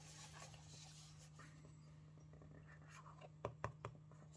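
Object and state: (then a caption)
Cardboard gift box. Fingertips and nails scratch and rub the flat faces of a small, hollow, rigid printed cardboard Coca-Cola/Timex watch gift box with a striped sleeve, held in both hands, for a 1976 classic watch. Quiet, dry scraping and rustling runs over a steady low hum, then three sharp, short clicks stand out near the end.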